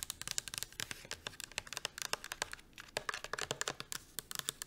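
A medium-size pink rigid plastic Pureology shampoo bottle, hollow and filled with liquid, is held in both hands and tapped quickly with long acrylic nails. The result is a dense run of sharp, bright clicks with almost no low end and no ring after each tap, with a brief lull just before the three-second mark.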